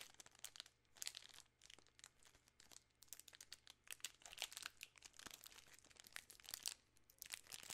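A full 3 Musketeers candy bar in a shiny plastic film wrapper is crinkled with fingertips and long nails. Dense, bright crackling crinkles come in quick, sharp bursts throughout, with uneven loudness over a faint steady low hum.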